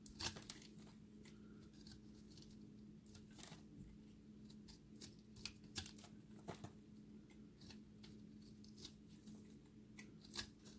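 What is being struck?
Pressed soap ball scraped with a knife blade.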